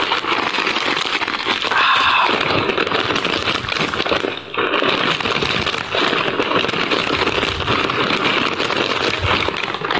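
A medium-size printed plastic Kellogg's Corn Flakes bag, full of corn flakes, is held in one hand and squeezed with the fingertips. The plastic film crinkles and rubs in a steady, dense, bright crackle, with a brief dip about halfway through before the crinkling resumes.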